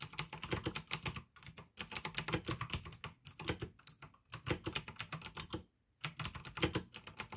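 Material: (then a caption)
Plastic. Fingertips type steadily on a pink AUKEY plastic mechanical gaming keyboard with blue switches. Rapid, crisp clicks and clacks come in quick bursts, with a bright top edge and a low thud under each keystroke. Brief pauses break up the typing, with the longest silence just before the end.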